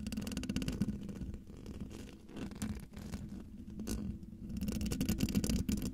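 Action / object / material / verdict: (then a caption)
scrape / metal mesh microphone grille / metal mesh / none. Long dark-painted nails scratch across a hollow domed metal mesh microphone grille. It makes a close, dense, rasping scrape with a low rumbling body and a faint hum near 207 Hz. Quick, uneven strokes run at about four per second, and the scratching swells louder toward the end.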